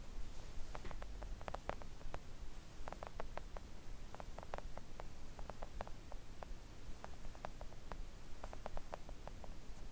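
Long acrylic nails gently tap a flat pink silicone nail art mat lying on a table. The quiet, soft, short ticks come in irregular quick clusters over a steady low rumble.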